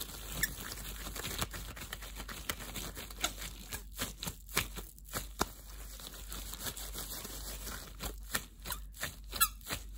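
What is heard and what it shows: Gloved fingers rub, squeeze and stretch against each other in a pair of thin, clear, translucent disposable plastic gloves (possibly vinyl) worn on both hands. The result is a continuous run of squeaky, crinkly friction sounds, punctuated by sharp, bright squeaks over a quiet, textured rustle.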